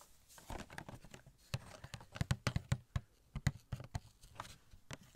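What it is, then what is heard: Cardboard box with plastic window. Fingertips tap on a small, hollow cardboard Elastigirl Funko Pop box with a clear plastic window and the figure inside. Quick, irregular taps produce soft, dull, hollow thuds, mostly low in tone, that die away almost instantly, with faint brighter clicks between them.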